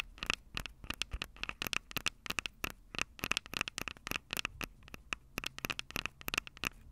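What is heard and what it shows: Long purple nails on both hands rapidly tap and scratch the small metal X/Y microphone capsules on top of a plastic Tascam DR-05 recorder, the same mic that is recording. About 35 sharp, close clicks and scratches sound in quick irregular bursts, each with a bright metallic ping near 2.6 kHz that dies away almost instantly, over a faint hiss with little low end.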